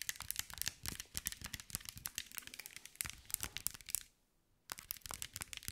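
A green mirrored glass mosaic ball held in one hand is tapped and scratched with long nails. Rapid, bright clicks and crisp scraping crackles come in quick succession, pause briefly near the end, then resume.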